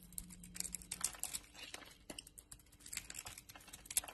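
A utility knife blade carves a solid Dalan bar soap held in the hand, its exterior marbled pink and teal and its interior purple and white. Quiet, dry, crackly scraping and crisp little crunches follow one another in quick, uneven bursts. The sound is bright and close, with almost no low end, and each cut stops dead with no ring.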